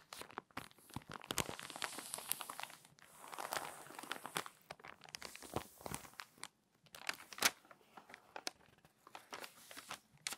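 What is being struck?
Glossy paper magazine.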